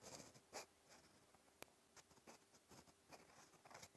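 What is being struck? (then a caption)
Steel pen nib on paper notebook page. A fine steel fountain pen nib scratches continuous handwriting strokes across a flat cream lined paper notebook page. Soft, bright scratching comes in short bursts, with one sharp click partway through.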